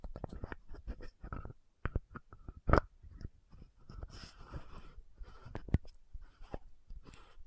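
Long nails tap and scratch the gold cap and neck of a frosted plastic lotion bottle. Quiet, short, dry taps with a dull low thump mix with soft scratchy rustling, and one tap near the middle lands noticeably louder.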